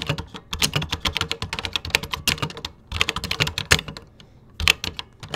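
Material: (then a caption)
Plastic. Fingertips tap the beige plastic keys of a 1980s computer keyboard in steady typing. Quick, bright clicks come in bursts, with short pauses near three seconds and again just past four seconds. Each click stops almost at once.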